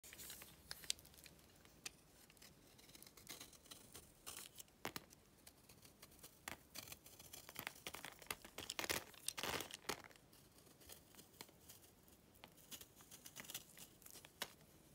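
A yellow utility knife blade scrapes and shaves crumbly flakes off a hand-held, fist-sized lump of pale dry clay or chalk. The sound is quiet, dry and bright: a string of short crisp scratches and crackles with no ring, building to a denser, louder burst of scraping around the middle before easing back to lighter strokes.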